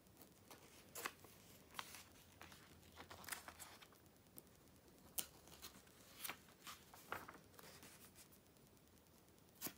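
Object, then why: Paper magazine. The July 2013 issue of Vogue, a glossy magazine of thin paper opened on text and photo pages, has its pages flipped one after another by nails and fingertips. Quiet, crisp paper swishes and bright crinkly snaps rise over a soft hiss at an uneven pace. Each flip dies away almost at once.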